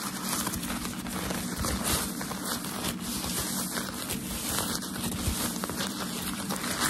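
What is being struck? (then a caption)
Thin tissue packaging paper. A loose, crumpled sheet of white tissue shoe-packaging paper is handled with the fingers, giving a steady, continuous crumpling and crinkling. The papery rustle is broad and bright, with a low rumble underneath and no clear separate hits.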